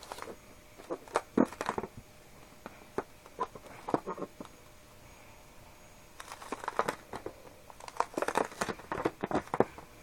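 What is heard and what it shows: A small, filled, soft red latex rubber balloon is squeezed between both moist hands on a table. It gives quick bursts of squeaky, crinkling rubber rubs and sharp little pops. A quiet pause in the middle separates two busy stretches.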